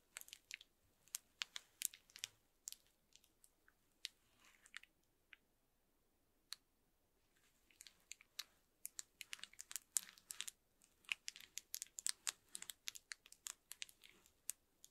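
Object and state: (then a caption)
Plastic bubble wrap scratched with a fork. The tines of a bamboo fork are scraped and scratched across the bubbles of a large, flat sheet of clear plastic bubble wrap. The result is an irregular run of sharp, bright clicks and crinkly crackles with almost no low end, each dying away almost instantly. The crackles pause briefly in the middle before returning denser toward the end.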